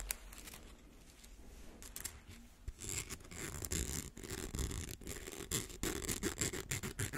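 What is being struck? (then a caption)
Small plastic coil slinky. A small coiled rainbow plastic slinky is scratched with fingernails across its ridged coil surface. The result is a run of quick, dry, raspy scratches with bright, hissy high texture and soft low rumble, growing louder and busier after the first few seconds.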